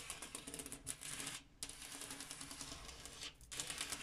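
Fingers or nails tap rapidly on a glass mirror, making a quiet, bright, crisp clicking patter. The tapping comes in quick bursts with two brief pauses, and each light tap fades fast.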